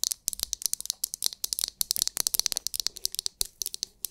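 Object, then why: Hard plastic massage brush. Long nails quickly tap and scratch a palm-sized oval massage brush with a hard, clear plastic, glitter-filled dome held close to the microphone. About thirty crisp, bright clicks with faint scratchy rustles between them come in a rapid, uneven stream, each dying away almost instantly with almost no low end.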